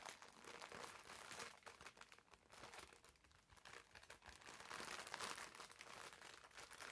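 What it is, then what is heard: Plastic-wrapped foam bath sponge. Fingers scratch and squeeze the clear plastic film wrapped around a green foam bath sponge. The result is a steady, irregular stream of bright crinkling and crackling, swelling louder in places, with very little low end.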